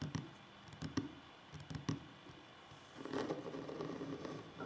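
Fingertips with short nails tap and drum on a large, solid wooden tabletop, giving quiet, dry knocks with a crisp nail click and almost no ring. Scattered separate taps in the first half give way to a denser, continuous patter of soft drumming toward the end.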